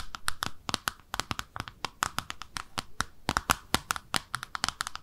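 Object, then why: Small ceramic soap dish. Long nails tap and scratch the underside of a small, speckled pink ceramic soap dish shaped like a bathtub, with holes in it. About 29 quick, dry clicks follow one another rapidly, each with a short, bright ceramic ping near 1.3 kHz that dies away almost instantly. Soft scratching fills the gaps between them.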